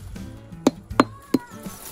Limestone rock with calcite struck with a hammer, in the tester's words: It sounds hollow, can you hear that?